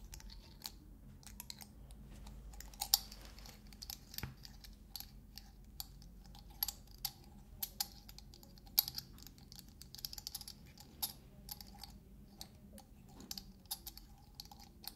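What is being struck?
Metal dome lid on a small glass salt shaker.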